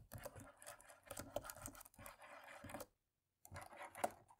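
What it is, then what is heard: Plastic laptop keyboard being rubbed. A cotton swab is rubbed and scratched along the top rows of dark plastic laptop keys, giving a soft, continuous scratchy rustle with small clicks and taps as it catches on the key edges. The rubbing pauses briefly into silence near the end, then resumes with another burst of scraping.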